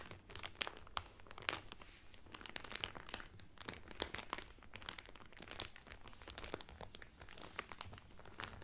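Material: Cellophane.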